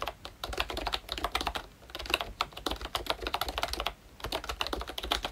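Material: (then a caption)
Plastic. Fingertips type steadily on a full-size ROYCHE Disney Mickey Mouse retro membrane keyboard with a hollow pink plastic case and round black plastic keycaps. The clip is a fast run of short, dry, bright plastic clacks with almost no ring, in a few bursts separated by brief pauses, over a faint low hum.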